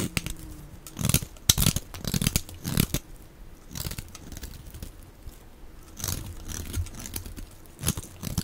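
A steel utility-knife blade scrapes and carves flakes off the end of a solid, dry pink bar of soap held in the hand. Crisp, crunchy scraping bursts with a bright, hissy edge come in uneven strokes separated by quieter pauses.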